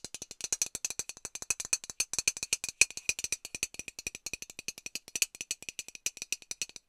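A hollow metal Lynx aerosol deodorant can is tapped rapidly with long nails, producing about 56 quick, dry clicks in an uneven rhythm. Each tap is sharp and bright with almost no ring, carrying a faint metallic tone near 2.5 kHz and almost no low end.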